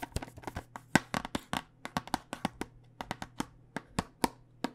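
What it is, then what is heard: Plastic dice tube tapped with fingernails. A clear plastic tube full of dice with a cardboard end is held horizontally while long nails tap its plastic surface. The result is a quick run of short, dry, clicky taps with almost no ring, some louder and some softer, over a faint low hum.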